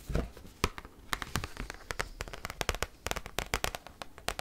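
An oversized cardboard Pokémon card, held and bent, is tapped rapidly with paperclip-tipped nails. It gives a fast, irregular run of sharp, dry clicks with a bright edge and a low papery thump, each tap dying away almost instantly.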